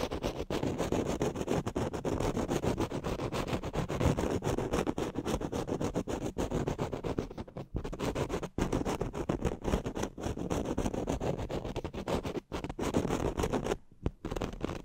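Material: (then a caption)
Foam. Fingertips and nails quickly scratch and rub along the top of a black foam cover on a studio microphone. The result is a dense, fast, uneven scratching and rustling, heavy in the low end with little brightness. It runs almost continuously, with brief near-silent breaks around 7.7, 8.5, 12.5 and 14 seconds.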